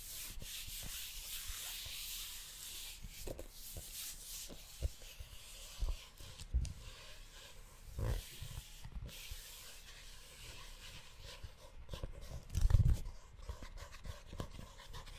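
Flat fingers and a palm rub the leather cover of a brown, book-sized leather-bound notebook held close to the mic. A steady, soft brushing hiss runs throughout, broken by occasional low, dull bumps, with the loudest one near the end.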